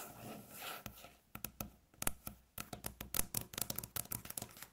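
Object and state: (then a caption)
Wooden tabletop, solid. Long natural fingernails scratch across a light-colored, flat, solid wooden tabletop, making a soft, airy rasp for about the first second. A quick run of sharp, dry taps follows in uneven clusters, each click bright and dying away almost at once.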